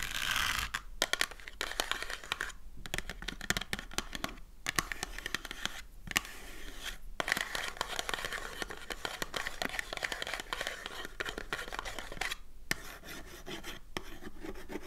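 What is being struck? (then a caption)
Small cardboard box. Long dark nails scratch and tap a small closed printed cardboard box of Magno soap lying on a table. The result is a steady stream of dry, bright, papery scratching broken by short gaps and quick clicky taps.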